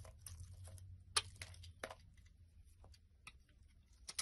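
A solid rectangular white bar of soap with embossed lettering, held in the hand, has flakes shaved off it with a black utility blade. The scraping gives quiet, crisp, bright ticks and short cracks of varying strength over a faint steady low hum.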